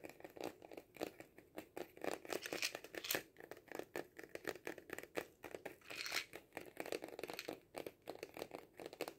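Fingernails tap and scratch a hollow cardboard kaleidoscope tube, held diagonally and then upright. Rapid, dry, papery taps mix with scratchy, crinkly rasps, bright and thin with almost no low end. Each tap dies away almost instantly.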